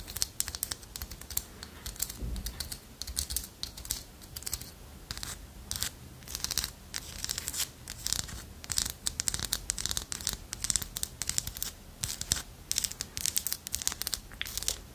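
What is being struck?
Small carved wooden figurine.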